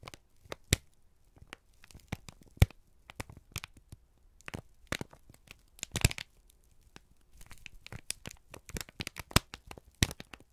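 A single thin, crumpled sheet of brown kraft paper, held in both hands, is squeezed and crinkled with the fingertips and thumbs. The result is a dense run of sharp, dry crackles and crinkles spread across the clip, bright on top with a faint low rumble underneath.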